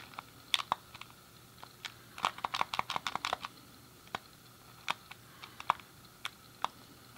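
Fingertips and a thumb click the face buttons and D-pad of a hand-sized, hollow grey plastic SNES game controller. Sharp, dry plastic clicks with bright high edges and a tone near 1 kHz come in irregular taps, with a quick flurry in the middle. Each click stops almost instantly, with no ring after it.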